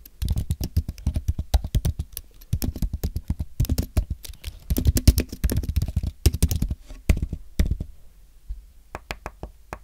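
Fingertips type and tap on the plastic keys of a thin, solid white Apple Magic Keyboard with an aluminum base. Rapid bursts of short, dry, low-thudding clicks come with brief pauses between runs, and the typing thins out to sparse taps at the end.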